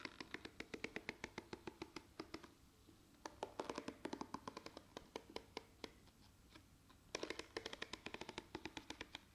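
Long painted nails scratch and flick across the dense, short plastic bristles of a handheld pink and black plastic detangling hairbrush. Quick, dry, bright clicks and scratches come in rapid runs, with quieter pauses near 2.5 to 3 seconds and 6 to 7 seconds. Each flick dies away almost instantly.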